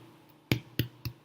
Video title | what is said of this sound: Baking Revolution: Ciabatta | That thud, that hollow sound means that it's ready, that it's cooked throughout.